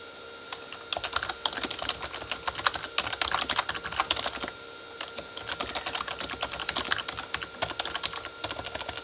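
Both hands type with their fingertips on a full-size Corsair K35 backlit plastic mechanical keyboard with plastic keycaps on a hollow plastic body. Rapid, bright, clicky taps come in two bursts with a brief quiet pause near the middle, each tap short and dry with a light hollow clatter.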